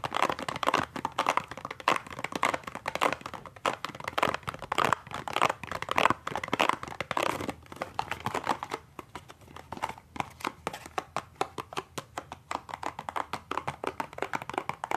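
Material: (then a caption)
Cardboard. A small, hollow cardboard toothpaste box is gripped and tapped with the fingertips and nails along its side and end. The result is a dense run of dry, crinkly taps and crackles centered in the midrange, with quick, clipped decays. The tapping is busy and irregular at first, then thins into sparser, sharper clicks.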